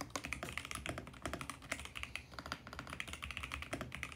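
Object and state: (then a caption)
Plastic mechanical keyboard. Fast two-handed fingertip typing on a VGN X68 compact mechanical keyboard with purple and mint plastic keycaps on a hollow plastic case. It produces a dense run of short, bright, clacky key strikes with quick decay and a faint low thump beneath.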